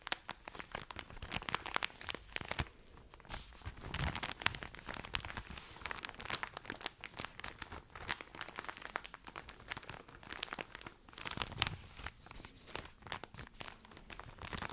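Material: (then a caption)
Plastic film. A tall, full cylindrical pack of cotton pads about 25 cm long, wrapped in thin crinkly plastic film, is held in one hand and scratched and squeezed with long red nails. It makes dense, bright crinkling and crackling with quick scratchy ticks and short, softer squeezing swells throughout.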